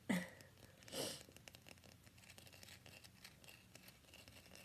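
Fingernails quickly tap and scratch the surface of a solid cream-white rectangular bar of soap held upright in both hands. Two louder, breathy scratching sweeps open the clip, then a quiet, uneven run of soft, dry taps and scrapes follows. Each tap is short with a bright, hissy edge.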